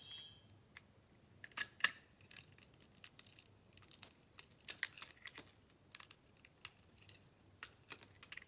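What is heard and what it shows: A metal blade peels curled slices off a hand-held solid white bar soap studded with small plastic beads. A quick series of short, bright, crisp scraping clicks and crackles follows, with almost no low end and a brief opening hiss.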